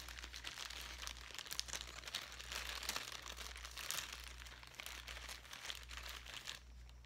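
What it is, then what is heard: Plastic zip bag with foam pieces. A clear plastic zip-top bag holding light-colored foam pieces is held up and crinkled with the fingertips. Dense, bright crinkling and crunching rustles continue throughout, with a steady low hum underneath, before easing near the end.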